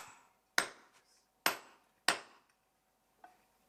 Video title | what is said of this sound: L'archéologie du paysage sonore : recréer les sons du passé - Natures sonores | donc on est bien sur du fer vous entendez ça sonne mat